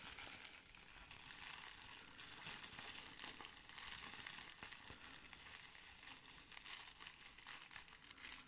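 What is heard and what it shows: A folded sheet of clear plastic bubble wrap is held close and squeezed and crinkled with both hands. It gives a quiet, steady stream of bright, high crackling and crinkling with little low end, like a soft sizzle that swells and fades slightly throughout.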